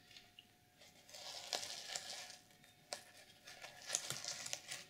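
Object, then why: Sequin fabric journal cover. Long nails scratch near the top edge and across the surface of a black, sequin-covered notebook with a reversible sequin fabric journal cover. The result is quiet, bright, crinkly scratching in irregular bursts, with sharp rasping peaks and almost no low end.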